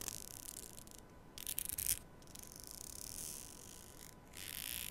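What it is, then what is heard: Plastic hair comb. Long nails scratch along and pluck the fine teeth of a solid, thin black hair comb, likely plastic, held in front of a small microphone. Quiet, bright rasping bursts come in stretches separated by brief pauses, with a faint steady tone running underneath.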